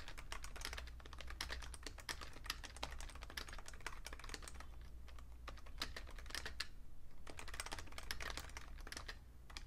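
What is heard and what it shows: Fingertips type fast on a vintage beige plastic full-size Fujitsu Siemens computer keyboard with a hollow case. Dense runs of bright, short clicking taps come in bursts with brief pauses, over a steady low hum.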